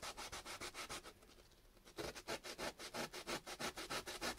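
A small, solid chunk of raw potato, held in the fingertips, is rubbed rapidly back and forth on sandpaper, making quick rhythmic bright rasping strokes, about 22 in all. The strokes briefly soften to a quieter scratch in the middle before picking up again, leaving a wet grated smear on the paper.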